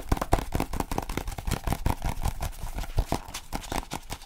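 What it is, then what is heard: Paperback phrasebook, fingertip tapping. Fingertips tap quickly on the glossy cover of a small paperback French phrasebook held in both hands. The result is a fast, steady run of dull, low thuds with almost no ring or high-end brightness.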